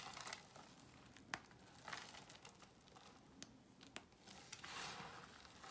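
A pile of dry cream soap shavings and chunks on a white surface is crushed and crumbled between the fingertips of both hands. Quiet, bright crinkling and crumbling is broken by occasional sharp, short crackles, with a longer swell of gritty crumbling near the end.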